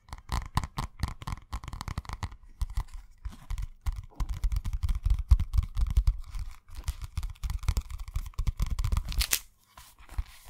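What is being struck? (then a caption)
Cardboard notebook cover. Fingertips tap and scratch the cardboard cover of a purple spiral notebook held close to the microphone. Rapid, irregular, dull low thumps mix with dry scratchy rustling and a brief brighter scrape near the end. Short pauses break up the sound.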